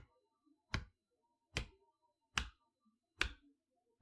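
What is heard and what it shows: Long fingernails tap on the plastic window over the letters and on the edge of a large, flat cardboard toy box holding a magnetic chalkboard set, standing on a table. Five separate sharp taps come about once every 0.8 seconds at a slightly uneven pace, each a bright click with a soft low thump underneath. Each tap dies away almost at once, with faint quiet between them.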